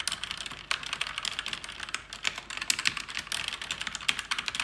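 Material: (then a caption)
Plastic. Fingers type fast on a black, backlit plastic mechanical keyboard with plastic keycaps. Dense, bright clicks and clacks overlap in a rapid, uneven patter, with a few louder strikes standing out. The keystrokes are short and dry, with almost no low end.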